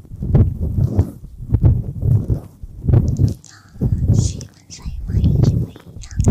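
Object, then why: Soft silicone ear of a binaural microphone. Fingertips rub and tap the soft silicone ears of a dual-ear binaural ASMR microphone, with both hands on the mic ears. The result is a series of muffled, booming swells of rubbing and thumping that sit almost entirely in the deep low end, with faint bright crackles between them.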